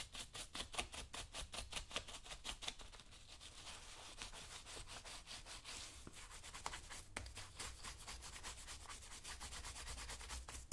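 A black leather work boot worn on a foot has its left toe and upper brushed rapidly with a small wooden-handled dauber brush while the other hand holds the boot. Quick, bright rubbing strokes repeat in a steady rhythm over a low hum. The strokes are sharp and distinct at first, then blur into a more continuous scrubbing.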